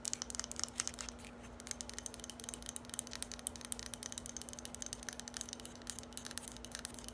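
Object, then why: Small hard plastic bottle. A small, hollow, lime-green hard plastic bottle or dispenser, held in the hands, is tapped and scratched quickly with long acrylic nails. The result is a quiet, continuous stream of sharp, bright clicks and scratchy rasps that die away instantly, over a steady low hum.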